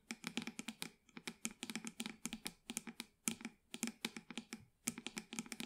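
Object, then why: Small plastic plant pot. Long white acrylic nails tap and scratch the sides of a small black plastic plant pot holding an artificial plant, held in both hands. Quick, bright plastic clicks come in rapid clusters with short pauses, each tap dying away almost at once, mixed with light scratching.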